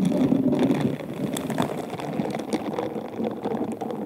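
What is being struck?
Bead-covered glass wine glass.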